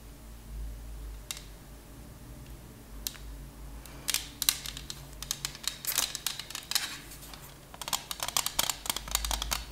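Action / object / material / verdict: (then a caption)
tap / thin plastic CD case with disc / plastic / none. A thin purple plastic CD case with a Verbatim disc inside is tapped and scratched with long nails. Sharp, bright clicks and scratchy ticks come sparsely at first, then in dense bursts. Each one dies away almost instantly over a faint low hum.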